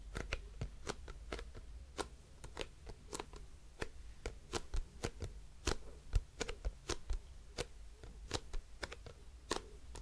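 Long nails tap and scratch a hollow grey plastic cosmetic bottle with a printed label and a white cap. The result is a quick, irregular series of short, dry clicks with bright, crisp edges and faint scratching between them, all over a steady low hum.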